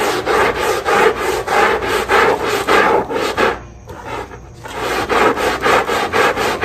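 A long-handled black scrub brush rubs back and forth across the soaked, soap-foamed, rubber-dotted non-slip backing of a small flat textile area rug lying face down on a tile floor. The result is a steady, rhythmic, raspy scrubbing with a mid-range hiss, which briefly drops to a quieter pause before the strokes resume.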